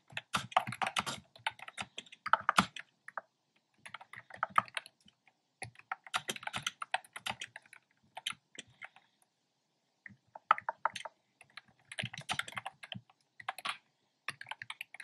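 Fingertips with short nails type on a black plastic keyboard with hollow keys and round retro-style plastic keycaps in cream, pink and red. Quick bursts of dry, hollow clicking taps come in flurries separated by short silent pauses. Each tap is short and crisp, with no lingering ring.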